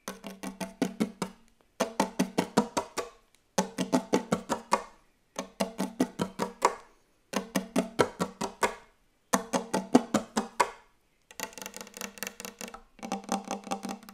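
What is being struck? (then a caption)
Wooden table. Very fast tapping on a wooden table: rapid bursts of short, dry knocks with a woody tone around 250 Hz and quick decay, separated by brief silences. Seven bursts are heard; the last two are softer and more blurred.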